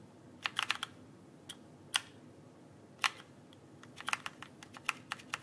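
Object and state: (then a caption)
Plastic mechanical keyboard. Fingertips tap and press the plastic keycaps of a backlit mechanical keyboard held upright. About fifteen short, bright clicks come at an irregular pace, some in quick clusters, each dying away almost instantly over a faint steady hiss.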